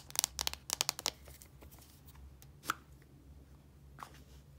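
Long nails tap and scratch the sides of a blue, translucent plastic deodorant stick container, a hollow casing with product inside. A quick burst of sharp, bright clicking taps fills the first second, followed by faint scratching over a low steady hum and two more isolated taps. Each tap is dry and stops almost instantly with no ring.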